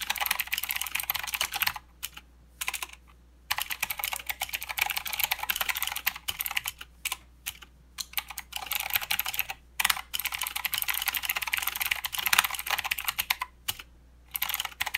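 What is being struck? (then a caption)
Mechanical keyboard with plastic keycaps. Both hands type with their fingertips on a full-size mechanical keyboard with plastic keycaps and blue clicky switches. Dense, bright, sharp clicks rattle quickly, with short pauses scattered through the clip. A faint steady low hum sits underneath.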